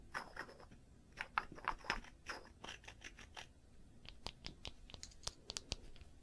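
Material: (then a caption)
Wood. A small light-wood cylindrical piece with a band around its middle is held in both hands and scratched along its surface with long nails. Dry, bright scratching strokes come in quick bursts, then give way to sharper, brief clicks that stop almost instantly.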